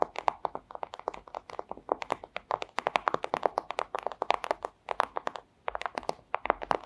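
Long acrylic nails tap rapidly on a flat, thin, clear plastic pouch. Each tap is a short, dry, crisp click with a mid-pitched body and bright edges, dying away almost instantly. The taps come in quick, uneven bursts with brief pauses throughout.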